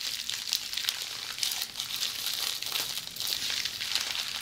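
A roll of red plastic bubble wrap held in hands is scratched by long polished fingernails, making a continuous bright, crinkly scratching with quick crackles scattered throughout. The sound sits almost entirely in the high range with no low end.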